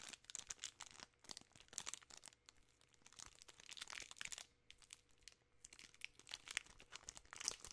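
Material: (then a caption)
Plastic film. A full, large 3 Musketeers bar in its sealed plastic film wrapper is squeezed and crinkled by fingertips and long nails. The result is dense, bright, crackling crinkles in quick clusters with short pauses between them. There is almost no low end.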